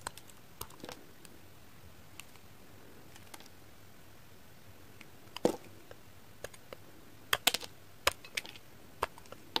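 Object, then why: Glycerin soap bar shaved with a knife blade. A pink kitchen knife blade makes rapid shaving strokes across a solid, translucent, hand-sized, heart-shaped pink glycerin soap bar. About sixteen short, sharp, bright scraping clicks and crackles come at irregular intervals over a faint steady hiss, growing louder and more frequent toward the end. Each one cuts off almost instantly with no ring.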